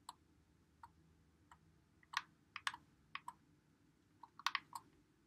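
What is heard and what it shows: Fingertips press and click the buttons and thumbsticks of a white Xbox One controller with a hollow plastic body, held in both hands while playing Call of Duty. Sharp, dry, bright plastic clicks come in an irregular series, some spaced apart and some in quick clusters, each dying away almost instantly over a faint low background hum.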